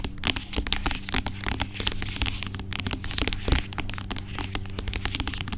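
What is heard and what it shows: Long acrylic nails tap and scratch the sides of a large, dark plastic pump bottle of aloe vera gel lying on its side; the bottle seems filled with gel. Rapid, crisp clicks and scratchy, crackling strokes ring out brightly over a steady low hum.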